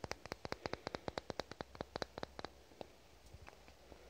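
A small amber glass dropper bottle with a white label and a black dropper cap is held in both hands and tapped with fingernails. A quick, steady run of about twenty short, dry clicking taps with a mid-pitched glassy tone comes first. The taps then slow into a few fainter, scattered ones before fading out.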